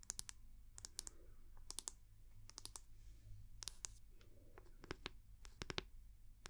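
Long fingernails tap quickly on the round, solid wooden back of a hair brush held in one hand, making sharp, bright clicks in short uneven bursts. Each tap dies away almost instantly over a quiet, low rumbling background.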